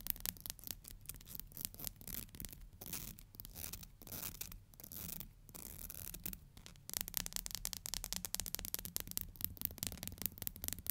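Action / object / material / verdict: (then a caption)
scrape / plastic hair comb / plastic / none. Long nails strum and rub along the teeth of a black plastic hair comb, making rapid, bright, dry clicking ticks over a soft scratchy hiss. The strumming eases into quieter rubbing through the middle, then returns faster and louder for the last few seconds.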